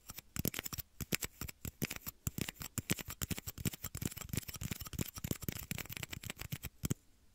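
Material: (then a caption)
Plastic. Small, hollow, empty, clear plastic shot glasses are held close to the microphone and tapped and flicked with fingertips and short nails. The result is a rapid, irregular stream of dry, hollow clicks and taps that stop abruptly just before the end.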